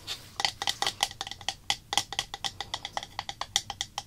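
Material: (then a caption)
Plastic. Long black acrylic nails rapidly tap and scratch the body and printed label of a small clear plastic slime activator bottle with a white cap, filled with liquid. The result is a quick run of about two dozen sharp, bright clicks, each dying out almost at once.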